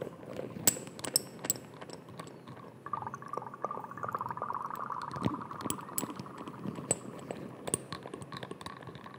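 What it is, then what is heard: Amber glass dropper bottle. Fingertips and nails tap and scratch a small amber glass dropper bottle with a white dropper cap, held close to the microphone. Sharp, bright clicks land at an irregular pace over a soft, scratchy rustle. From about three seconds in, a steady mid-pitched tone sits underneath.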